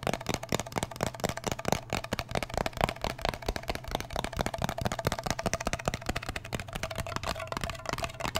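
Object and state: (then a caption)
Metal cream tin. Fingertips and nails tap and scratch the lid of a small round blue metal Nivea cream tin, closed and apparently full. Rapid, dense, dry clicks with almost no ring blend with a scratchy rasp, over a faint steady low hum.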